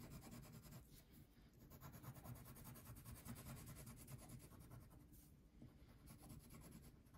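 A red/pink wax crayon rubs back and forth across a thin paper coloring sheet lying on a table, shading it in quick, fairly steady strokes. The sound is a quiet, continuous scratchy rasp with a soft, low-heavy texture and little bright content.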